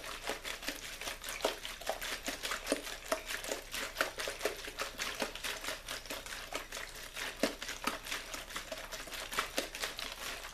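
A small, clear plastic water bottle with a blue label, hollow and mostly empty, is shaken or crinkled in the hand over a wooden board. It gives a steady stream of quick, irregular, bright crackles and clicks, each dying away almost at once, with little low end.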